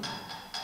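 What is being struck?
Ceramic object.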